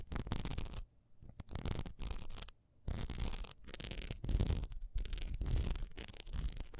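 Long nails scratch quickly over the diamond-textured sides of a single solid wax pillar candle, which is held and then stood upright. Dense, dry scratching comes in rapid bursts with a few brief quiet gaps, its bright rasp layered over a low rumble.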